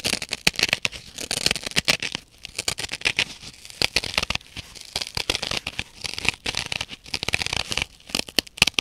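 Long painted nails scratch across the rough, fibrous blue nylon scouring face of a dry, solid, hand-sized kitchen sponge, while a second blue sponge piece sits untouched behind it. The result is a dense run of quick, bright, crackly scratching strokes, concentrated in the upper range around 2.6 kHz, with almost no low end and very short decay.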